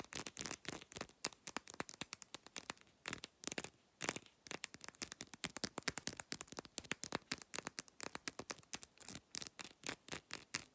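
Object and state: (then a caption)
Glass bottle tapped and scratched with nails. Long nail tips rapidly tap and scratch the thick glass base of an amber glass supplement pill bottle, around its ridged rim. The result is a fast, dense run of dry, bright clicks and scrapes with almost no low end and no ring, broken by a brief pause near the middle.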